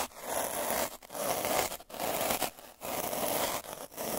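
A black derma roller with a purple drum of metal needles, held by the fingertips, is rolled back and forth over a flat white paper or board surface. The needles give a dense, gritty scratching hiss centered around 758 Hz with bright high edges. It comes in about six strokes separated by brief quiet gaps.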